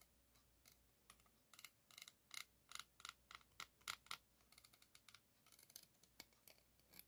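A single white plastic spoon held in the fingers taps and scratches across the hollow, rounded woven steel-wire mesh head of a microphone, which has a chrome ring below. About two dozen short, bright, clicky taps and scrapes come in uneven bursts, each dying away almost at once, with almost no low end.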